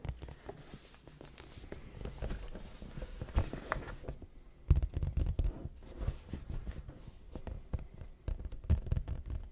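A large, flat, hollow red printed cardboard YoungLA clothing box is held upright and tapped with fingertips on its front face. The result is a quick, irregular run of short, dull, bass-heavy hollow thuds with faint scratchy texture. A few harder taps near the middle and end stand out.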